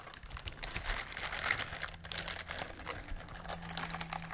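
Long nails scratch and rub across a pink silicone bristled scrubber glove, making a dense, continuous patter of quick, crisp ticks and scrapes. The clicks are bright and fast, over a faint low hum, with no speech.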